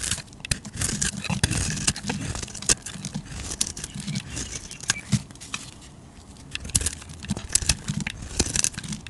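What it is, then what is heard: Bar of soap being carved. A flat metal blade scrapes and carves the surface of a hand-sized, solid purple and red bar of soap held in one hand, peeling off curls and flakes. Dense, bright, crackly scraping rasps come in quick, uneven bursts over a soft low rumble, with short pauses between strokes.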